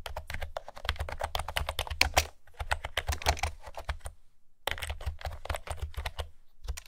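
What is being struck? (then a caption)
Plastic keyboard with round keycaps. Fingertips with long nails type rapidly on a light blue plastic retro keyboard with pastel round keycaps and a hollow housing. The result is a fast, steady stream of short, clicky key taps with a low hollow thud beneath each press and a brief pause just past four seconds.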